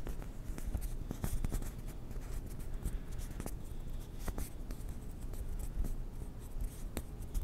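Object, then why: Plastic ping pong ball. A small, white, hollow plastic ping pong ball is rubbed and rolled between the hands close to the microphone. It makes a steady, soft, scratchy friction sound with scattered sharp little clicks. The sound is quiet and low-heavy, and it stays close and dry with no ring.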